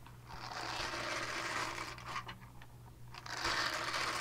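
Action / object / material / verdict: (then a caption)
scrape / silicone cleansing pad / silicone / none. Long nails scratch the textured side of a small purple silicone cleansing pad, producing a steady, bright scratchy rasp with a faint low hum underneath. The rasp swells and thins in waves, with a brief quieter stretch and sharper flicks in the middle before it rises again.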